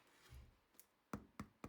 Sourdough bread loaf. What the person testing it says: make sure you hear the hollow sound